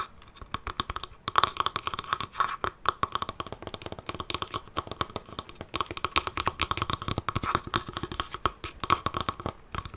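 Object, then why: Small wooden chest covered in faux leather. Fingernails tap and scratch on the side panel of a closed, hollow wooden mini chest covered in dark faux leather and held sideways. Rapid, dry clicks mix with scratchy, bright rasping throughout. Each tap dies away almost instantly, with a faint hollow ring near 1.1 kHz.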